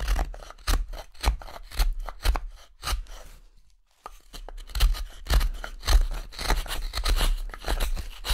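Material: Wood.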